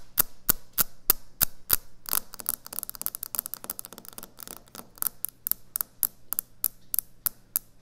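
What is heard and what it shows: Long nails tap quickly on a solid white speckled quartz or stone kitchen countertop. The sharp, bright clicks come first as evenly spaced single taps, then crowd into a dense flurry and spread out again. Each tap dies almost instantly over a steady low hum.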